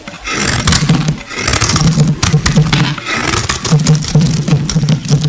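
A metal box-cutter blade shaves the surface of a solid, translucent purple glycerin soap bar. The result is a dense, continuous scraping with a low, buzzy tone around 150 Hz under brighter crackling, rising and falling with each stroke over about five seconds.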